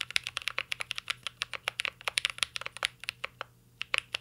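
Both hands type with their fingertips on a full-size mint-green Cyberboard R3 mechanical keyboard with Holy Panda switches, plastic keycaps and an aluminum case, resting solid on a desk. About 27 crisp, bright keystrokes clack in a quick, uneven rhythm, each dying away almost at once with almost no low end. A brief pause falls just before the final few strokes.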